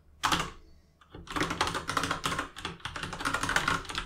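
Both hands type with their fingertips on an RGB mechanical keyboard with plastic keycaps. A lone sharp tap sounds first, then after a short pause comes a steady, rapid run of bright, clacky key taps. The clicks are crisp and short, with a midrange clack around 1.4 kHz.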